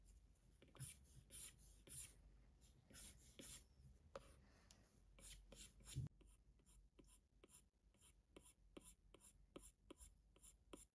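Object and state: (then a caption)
Stylus on glass tablet screen. A plastic Apple Pencil tip taps and scratches across the large glass touchscreen of an iPad Pro in writing-like line strokes. Irregular rubbing strokes in the first half give way to a steady run of short, bright ticking taps. The result is a quiet, close sequence of dry scratches and clicks.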